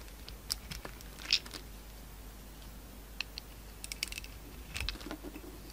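A solid oval soap bar with a green outer coating and a peach interior is scraped and shaved with a metal utility-knife blade, and crumbly shavings come off. Short, bright, crisp scrapes and crackles are scattered over a quiet, steady background hiss.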